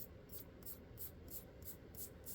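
Fingers rub along a finished steel Springfield Operator 1911 pistol chambered in .45 ACP in six quick strokes, each a soft, hissy swipe over a low background hum. The pistol has a less metallic tone than a stainless Sig 1911 and doesn't quite have the same sound.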